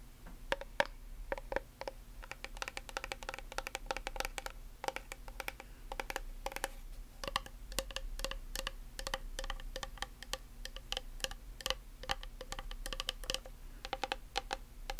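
Long nails tap and scratch along the sides of a white plastic nail polish remover bottle with a label. The result is a quick, irregular stream of short, dry clicks with a hollow plastic tone around 560 Hz, over light scratching and a steady low hum.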